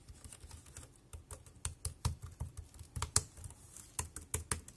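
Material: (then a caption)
Plastic. Fingertips type on the keys of a dark grey plastic compact wireless keyboard. The result is a steady, uneven patter of short keystrokes, each a soft low thud with a bright click that dies away almost instantly.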